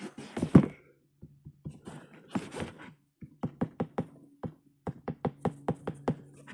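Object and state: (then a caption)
Plastic sneaker shank plate. Someone taps the plastic shank plate on the bottom of an Adidas Intimidation Low sneaker, a flexible and lightweight part. It gives a series of short, dull, low clicky knocks with almost no ring, first in loose bursts and then as a quicker steady run. The hollow tick confirms the plate is plastic.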